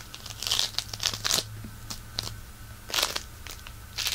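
A solid handful of pink polystyrene bead floam, held in one hand, is pressed and scratched with the fingertips. It gives uneven bursts of bright, crinkly crackling and crunching with quiet gaps between them, over a faint steady low hum.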